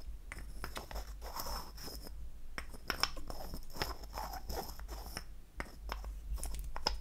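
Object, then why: Small wooden lipstick cylinder tapped with fingernails. Long acrylic nails tap on a small, light wood lipstick cylinder held in hand. The result is a dense run of quick, dry clicks with a high ringing tone, over a steady low hum.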